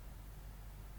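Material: Nothing is struck.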